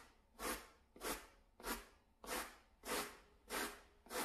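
A blue plastic-bristled hand brush, held in a gloved hand, scrubs across a small grey shaggy synthetic pile door mat. Seven steady, evenly spaced strokes give a bright, broadband scratchy swish, each rising and fading over about half a second, with quiet pauses between them.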